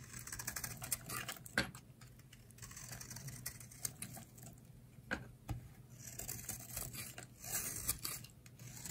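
A utility knife blade shaves along the edge of a solid, elongated, light-green bar of dry soap held in the hand. The result is a steady run of quick, dry scraping and crisp cutting clicks with bright, brittle high-end texture. Sharper snaps stand out now and then over a soft, low background hum.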